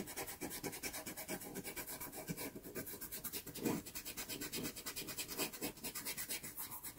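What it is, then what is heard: Pastel paper sheet being rubbed. A cotton swab held in the fingertips rubs back and forth across a small taped sheet of Pastelmat sanded pastel card, blending the pastel-covered surface. A steady run of soft, raspy scratching strokes carries bright, airy texture above a faint low body, with a slightly louder stroke near the middle.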